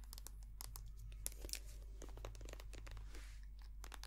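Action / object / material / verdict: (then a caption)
tap / soft plastic squeeze tube / soft plastic / none. Long painted nails tap and scratch a small white soft plastic squeeze tube of hand cream, hollow and filled with cream. Quick, crisp clicks and bright crinkling scratches come in a rapid, uneven stream over a steady low hum, staying quiet throughout.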